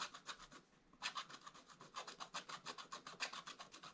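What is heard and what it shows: A wooden stylus scratches lines into the black coating of a scratch-art paper page lying in a flat book. Quick, rhythmic, dry rasping strokes with a bright, hissy texture repeat steadily, with a short pause near the start before the strokes resume.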